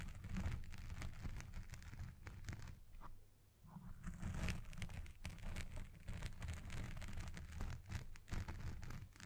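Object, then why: Foam microphone windscreen. Fingers with red nails rapidly scratch the side of a black foam windscreen on a Blue Yeti Pro microphone, making a dense, continuous crackling and rustling scratch with a heavy low rumble. The scratching briefly eases and quiets about a third of the way through, then resumes at full intensity until the end.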